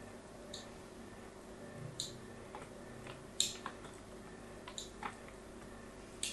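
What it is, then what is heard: Bar soap scraped with a metal tool. A solid pink bar of soap is held in the hand while a pointed metal tool scrapes and scores its edge, sending flakes coming off. Seven short, bright, crisp ticks land at irregular intervals and die away almost instantly over a quiet, steady low hum.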